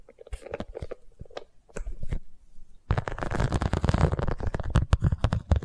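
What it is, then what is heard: Vinyl cosmetic pouch. Long nails scratch and tap the surface of an iridescent, embossed holographic vinyl zippered cosmetic pouch. Scattered soft taps and light scratches come first, then at about three seconds a louder, dense run of rapid scratching and tapping begins. The sound is dull and low-heavy, with quick crunchy strokes that die away at once.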